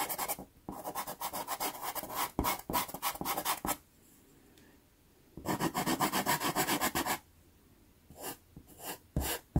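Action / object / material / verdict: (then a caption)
scrape / wood pastel pencil on sanded pastel card / sanded card / none. A natural wood pastel pencil is rubbed back and forth across a small taped sheet of sanded Pastelmat pastel card. Its repeated strokes make a gritty, scratchy rasp that runs bright into the high range. The strokes come in bursts, with two quiet pauses between them.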